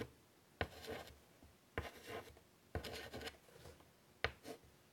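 White chalk held in the fingers draws on a large flat chalkboard in a wooden frame resting on a table. Four quiet, sharp tapping starts each lead into bright, dry scratching strokes, separated by near silence.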